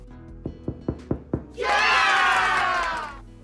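Five dull knocks on the underside of a freshly baked spelt loaf, just turned out of the pot, check that it is baked through, and the hollow sound says it is. Steady music plays faintly underneath, then a loud burst of applause swells in and fades.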